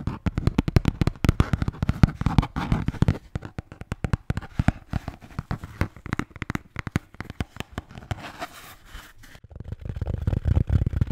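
A red Bintang beer can holder is rapidly tapped and scratched up close, producing dense bursts of short, dull, low-pitched taps. Quieter scratching stretches fill the gaps before the tapping builds again toward the end.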